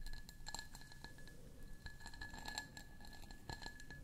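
A medium-sized, ridged and faceted cut glass candle jar, hollow and held in both hands close to the microphones, is tapped and scratched with long fingernails along its ridged sides. Quiet, rapid glassy clicks and scratchy strokes are heard over a steady thin ringing tone near 1.7 kHz with bright high glints. Each tap dies away almost at once.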